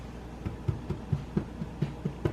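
A hot honey oat bread loaf, just tipped out of its pan, is tapped on the bottom several times, giving short, dull, hollow low thumps around 145 Hz over a quiet background hum. The loaf is judged fully baked and done.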